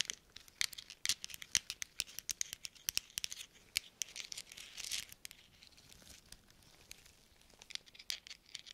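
Small hollow metal thimbles worn on gloved fingertips are pattered and tapped against one another in front of microphones. The result is a quick, irregular run of dozens of bright, high metallic clicks with almost no low end, each dying away almost instantly. A denser, rustling cluster comes near the middle, then the taps turn softer and sparser before a few sharper clicks at the end.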